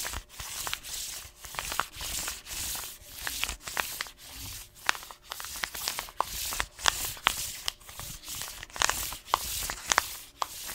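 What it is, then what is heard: Paper-foil coffee bean bag. A hand rubs and scratches the paper surface of an orange paper-foil coffee bean bag with blue tape, lying on its side. Steady rhythmic strokes of dry, bright rustling and sanding-like scraping are heard, dotted with sharp high crinkles and crackles of the foil. There is almost no low end.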